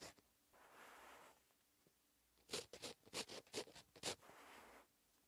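A ballpoint pen tip scratches across a lined page of a paperback notebook in continuous handwriting strokes. Soft, hissy scrapes are broken by a run of sharp, bright scratching bursts in the middle, then return to a longer smooth stroke.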